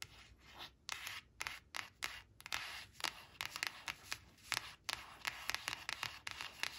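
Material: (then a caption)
Paper. Long acrylic nails trace and scratch over the pictures on a thin coated paper flash card printed with four bananas, lying flat on woven cloth. Many quick, dry, bright scratching strokes follow one another, each short with almost no ring, and brief quiet gaps between them carry a soft hiss of rubbing.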